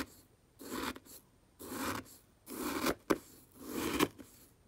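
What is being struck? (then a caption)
Fish food pellets in a plastic jar. A black brush handle is pushed and stirred through brown fish food pellets in a small, open, clear plastic jar. Four gritty, rasping strokes of shifting pellets are heard, separated by short pauses, with a sharp click between the last two.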